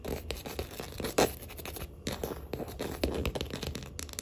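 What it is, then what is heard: Wooden tabletop. Long acrylic nails tap and scratch along the grain of a solid wood-grain tabletop. Quick, light, dry clicks mix with brief scratchy scrapes at a quiet level, with one sharper, louder tap just past a second in. The taps stay fast but gentle and die away almost instantly.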